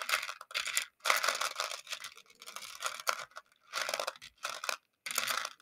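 A makeup brush handle stirs and scratches through a shallow round clear plastic container full of small colorful plastic pony beads. Bursts of bright, crisp rattling and clicking scrape come in quick passes, separated by brief silent pauses, with almost no low end.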